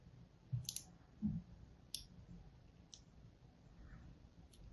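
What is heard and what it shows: A thin blade tip scores lines into the face of a solid blue and white striped soap bar held in the fingers. A few sharp, bright scratchy clicks stand out over a quiet, low rumbling background, with a soft dull thud early on.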